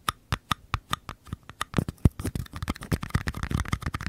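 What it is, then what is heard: Mini paper cup. Fingertips and nails tap and scratch the walls of small, empty, hollow mini paper cups, one held on its side in each hand. Evenly spaced, dull, hollow taps with a low, papery thump come first, then give way to quicker, denser tapping mixed with scratching.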